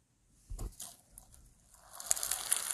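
A large, soft rainbow lump of foam bead slime (floam), solid and packed with small polystyrene foam beads, is held in bare fingers, squeezed, pulled apart and kneaded. Quiet, bright crackling and crunching comes in short bursts, with a soft low thud near the start. It builds into a denser, steadier crackle toward the end.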